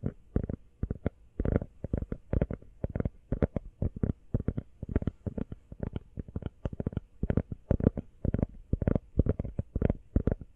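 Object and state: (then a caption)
Rubber phone case. Fingernails tap quickly on the back and edges of an empty teal rubber iPhone case. The result is rapid bursts of soft, dull, low clicks with no ring, coming in uneven flurries throughout.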